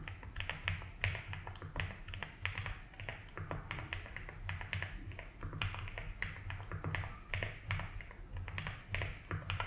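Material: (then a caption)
Plastic. A compact 75% mechanical keyboard with white and blue ABS plastic keycaps and a light blue plastic case is typed on steadily with the fingertips. It produces a continuous stream of short, bright, clacky key taps over a steady low hum.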